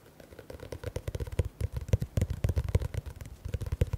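Fingertips and nails rapidly tap and scratch the paper cover and spine of a teal paperback book. The result is a fast, uneven stream of soft, low, thumping taps, each with a faint papery click and brief scratchy texture, rising slightly in intensity over the four seconds.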